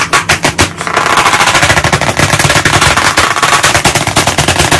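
White chalk sticks held in both hands tap very quickly on a solid, medium, flat black chalkboard panel set in a wooden frame. A dense, slightly uneven stream of sharp, dry clicks runs throughout, with bright attacks over a low knocking body. Each tap dies away almost instantly.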